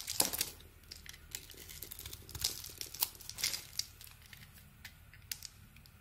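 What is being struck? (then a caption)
Soap bar shaved with a metal blade. A small metal blade shaves a solid, hand-sized, glossy purple bar of soap embossed "Speick" with an orange interior. The clip is full of crisp, bright scraping and crinkling strokes, with louder bursts near the start and in the middle and quick, dry strokes that stop almost at once.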